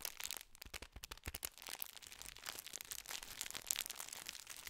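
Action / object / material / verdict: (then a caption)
scrape / foil-lined plastic biscuit wrapper / metallized plastic / none. Fingers crinkle and squeeze a full, gold foil-lined metallized plastic biscuit tube wrapper. The result is a quiet, dense run of bright, sharp crackles and crunches that stop instantly, with almost no low end.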